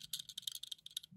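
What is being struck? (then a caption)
Die-cast model car base. The metal base of a Tarmac Works Nissan Silvia die-cast model car is tapped in a quick series of short, bright clicks with a ringing high-pitched tone. The taps sound sturdier than the plastic base of a Toyota Hiace model.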